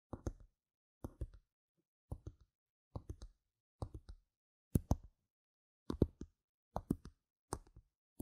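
Long red nails tap on the faces of small, solid, round plastic game gem tokens lying on a mat, heard up close. The sound comes in nine short bursts of two or three quick taps each, separated by silence. Each tap is a dry, low, soft clicking knock that dies away almost instantly.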